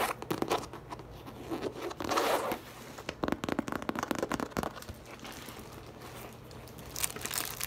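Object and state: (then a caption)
Coated canvas tote bag being tapped and scratched. A hollow teal French-print coated canvas tote bag stands on a table while long acrylic nails and fingertips tap and scratch across its printed panel. Quick dry taps mix with raspy, crinkly scratching that swells in dense bursts around the second and the middle of the clip. A final bright flurry of scratches comes near the end.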